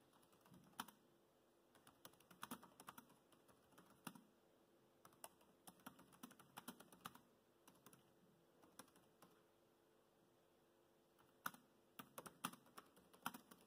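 Fingertips type on the black plastic chiclet keys of a dark grey laptop, making quiet, short, bright clicks in irregular bursts separated by brief pauses. Each keystroke dies away almost instantly over a faint, steady background hum.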